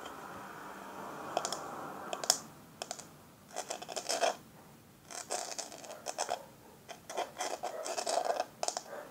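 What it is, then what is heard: Metal powder compact. Long fingernails scratch and tap a small, hollow, round rose-gold metal powder compact lid held in the hand. A steady bright hiss with a few sharp taps opens the clip, then bursts of quick, raspy scratching alternate with short pauses. Each tap is a crisp, bright click that dies away almost at once, with almost no low end.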